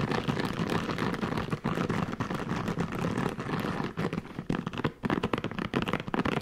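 Fingertips rapidly scratch and flick the many soft bristles of a hand-sized red silicone scalp massager brush. The result is a dense, continuous crackling and rubbing texture, full and low-to-mid heavy with little high content. It is fast and busy throughout, with brief dips between flurries.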